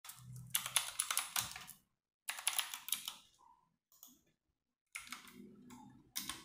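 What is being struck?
Plastic mechanical keyboard keys.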